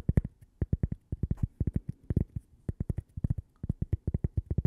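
A small, thin, solid toaster-shaped cork coaster with a logo is held in the hands and tapped and scratched with long purple fingernails. About 27 dull, low, muffled taps land in quick clusters, each dying away almost instantly, with a faint scratchy rasp between some of them.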